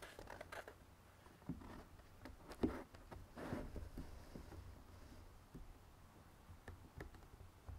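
A closed, rectangular printed cardboard jigsaw puzzle box lies on a red table, hollow and filled with puzzle pieces, while fingertips and nails tap along the edges of its lid. Soft, dull taps and light scratchy brushes come at an uneven pace over a low rumbling background, with a few sharper clicks standing out. Each tap dies away almost at once.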